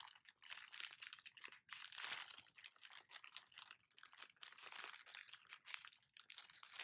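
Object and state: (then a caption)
Clear plastic film wrapper. An empty, flexible wrapper of thin clear plastic film is held up and crinkled and squeezed between fingers. The result is a dense, continuous run of bright, crackly crinkling with quick, sharp snaps and almost no low end, swelling and easing as the film is worked.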